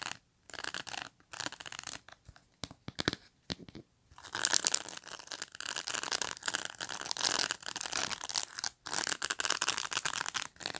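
Long nails scratch and flick the rows of plastic pin bristles on a black pet brush, which is briefly tilted. Short, dry, crackly flicks come in separate bursts at first, then give way to denser, continuous bright scratching with almost no low end.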